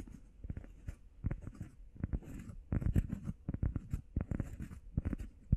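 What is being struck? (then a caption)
EVA foam pad. Long painted nails and fingertips tap and scratch quickly on a solid, hand-sized, flat grey textured EVA foam workout pad shaped like a heart. The result is a rapid run of dull, low, muffled thuds that die away almost instantly, mixed with soft scratchy rustling and faint bright clicks.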